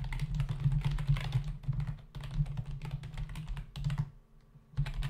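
Fingertips of both hands type fast on a full-size black plastic membrane computer keyboard with hollow keys, resting on a desk. Rapid, soft, hollow clicks and taps run almost continuously over a steady low hum. The typing pauses briefly near the end, then starts again.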